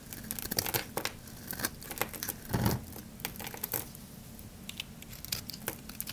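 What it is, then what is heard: Dry soap bar, crunchy. A metal blade scrapes grooves into a dry, palm-sized, solid oval black soap bar held in the hand, shaving off crunchy flakes. The clip is a quick run of sharp, dry crackling scrapes with bright, crisp edges and a few louder crunches.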